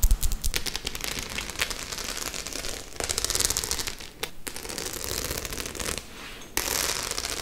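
Long acrylic nails tap and scratch across the silver and black metal studs of a flat, hollow white faux leather clutch bag held up close. The result is a dense, continuous run of quick clicks and bright, crackly scraping over a low hollow thud, with brief quieter gaps before it resumes.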